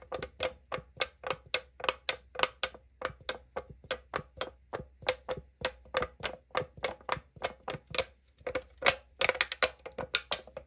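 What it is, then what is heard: Aluminum drink can tapped with fingernails. Long nails tap and scratch the printed side of a tall 500 ml aluminum drink can held in the hand, giving a quick series of sharp, bright clicks over a hollow, thin-metal ring near 540 Hz. The taps come steadily at first, then grow denser and louder toward the end, mixed with brief scratching.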